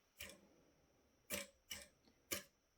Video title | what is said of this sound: Building two gaming PCs on a budget using recycled parts - Part 1 | they don't rattle they're kind of like uh xylophones where if you flick it it kind of has a tone to it